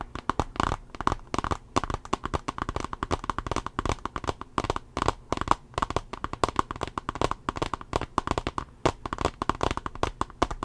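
Fingernails tap rapidly on the glass screen and the edge of a small tablet's solid teal plastic case. Dozens of short, dry clicks follow one another in an uneven rhythm. Each has a faint ring near 1 kHz and dies away almost instantly.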